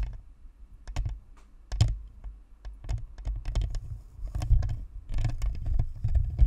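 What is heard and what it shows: Long nails on both hands scratch and tap along the sides of a white, hollow, spherical plastic Blue Snowball USB microphone near its metal grille. The result is a rapid, uneven run of short clicks and scratchy taps over heavy, boomy low thumps, with brief bright ticks and no ring after each touch.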